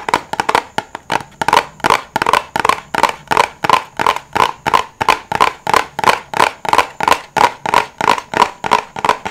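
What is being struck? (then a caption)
Silicone pop-it bubbles. Fingertips press the bubbles of a flat rainbow silicone pop-it fidget toy held in the hands, popping them one after another. About 33 short, dry pops come at a quick, slightly uneven pace, each with a hollow tone near 1 kHz, a bright click, and almost no ring or low end.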